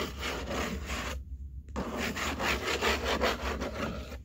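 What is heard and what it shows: Long painted nails and fingertips scratch and rub across the flat top of a large, empty-looking corrugated cardboard box, with both hands resting on it. A dry, bristly scraping fills the clip in uneven repeated strokes, bright and papery through the mids and highs over a faint low hum. It cuts to near silence for about half a second before the rubbing resumes.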